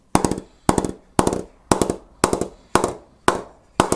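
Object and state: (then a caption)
Willow cricket bat being knocked in. A full-size, unpainted solid willow cricket bat blade is knocked repeatedly on its face with a wooden bat mallet during knocking-in. The sound comes in eight bursts, each a fast cluster of sharp, bright wooden taps with a short, dry decay into quiet.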